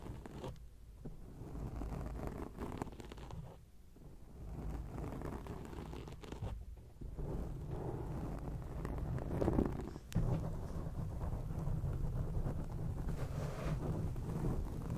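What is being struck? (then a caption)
Foam microphone windscreen. Fingertips and nails of both hands scratch a round grey foam windscreen on a microphone. The result is a dense, muffled, close-up scratching and rustling with heavy low rumble and almost no high content. It runs continuously for the whole clip, with a brief louder burst near the ten-second mark.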